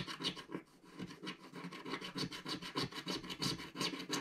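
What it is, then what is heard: Scratch-art card being scratched. A wooden stick scratches the upper right corner of a flat, solid, black-coated scratch-art card page. It makes a steady run of short, rasping strokes with bright, gritty highs and a low body.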